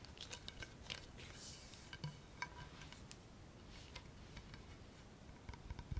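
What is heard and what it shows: Bare fingertips and nails rub and tap the barrel of a solid black Baum composite wood baseball bat, then move to the knob end. Quiet, dry scratching and brushing runs throughout, broken by short, bright clicks and light taps that die away instantly over a soft low rumble.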